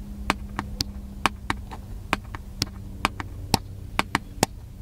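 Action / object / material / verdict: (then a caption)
tap / plastic camcorder casing / plastic / none. Fingertips tap the plastic casing of a small black handheld camcorder, giving a quick, uneven series of short, dry, bright clicks that stop almost instantly. A low, steady hum runs underneath the taps.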